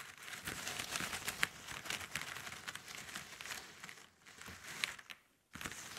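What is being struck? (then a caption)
Pile of plastic drinking straws. Fingertips and long nails rub and scratch across a pile of thin, hollow plastic drinking straws lying on a table. The result is a dense, bright, crinkly scratching texture with a couple of sharp clicky ticks. It briefly dips quieter near the four-second mark and falls almost silent just before the end, then resumes.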